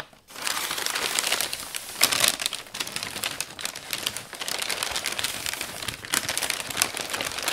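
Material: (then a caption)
Paper. Large sheets of thin brown kraft packing paper, draped over a flat framed wall piece, are crumpled, pressed and smoothed by bare hands. After a brief quiet start, a dense, continuous stream of bright, crackly crinkling runs throughout, with short louder bursts as the paper is pressed.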